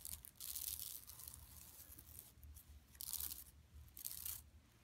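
Long nails scratch across a large, flat yellow woven plastic mesh shopping tote lying empty on carpet, with hands near its bottom edge at the end. Bright, raspy scratching rises and falls in bursts.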